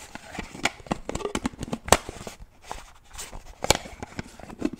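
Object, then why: Plastic shaker bottle lid. Fingernails tap and click on the snap or screw lid of a black plastic shaker bottle, making a quick, uneven run of dry, sharp clicks and taps. The sounds crackle with bright edges and die away almost instantly, with a few louder snaps standing out among softer ticks.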